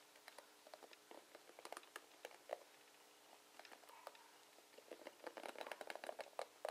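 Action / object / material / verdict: scrape / plastic paddle hairbrush with pin bristles / plastic / none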